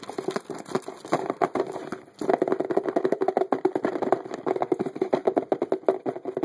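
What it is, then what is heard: Cardboard box. The top edge of a medium-sized, hollow printed cardboard box marked "Car series" is tapped quickly with the fingertips and nails of both hands. The result is a dense, rapid patter of short, dry, hollow knocks centred on a mid-range tone around 380 Hz, with a brief lull near the two-second mark before the fast tapping resumes more loudly.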